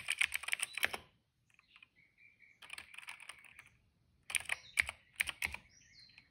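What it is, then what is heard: Plastic mechanical keyboard being typed on. Fingertips of both hands tap steadily on a retro-style cream plastic mechanical keyboard with dark and purple plastic keycaps and a hollow case, resting on a rug. Bright, clicky, hollow keystrokes come in quick bursts separated by quiet pauses, where faint high tones are heard. Each tap stops short with no ring.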